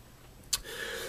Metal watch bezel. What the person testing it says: it doesn't rattle when i tap on it so that's a good thing